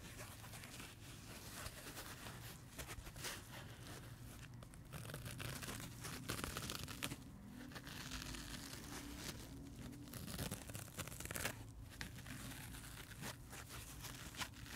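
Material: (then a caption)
Foam. Fingertips and nails scratch and rub the blue and green faces of a dry, solid, rainbow-striped foam sponge. The result is a steady, dense crinkling and scraping texture with bright, airy hiss above a low, soft rumble, with brief louder scratches scattered throughout.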